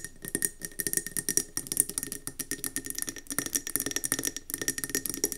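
Long nails tap rapidly on a round, speckled gold mercury glass candle jar filled with wax, resting on a table. The result is a fast, uneven run of short, dry clicks with a bright, high glassy tick and almost no ring, over a faint low body.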